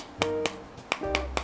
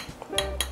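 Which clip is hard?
The second.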